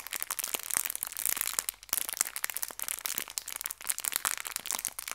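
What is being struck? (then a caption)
Small clear plastic bag of hair ties. A small clear plastic bag filled with hair ties is crinkled and pinched by fingertips and nails. The result is a steady run of dry, bright crinkles and sharp little crackles, with almost no low end.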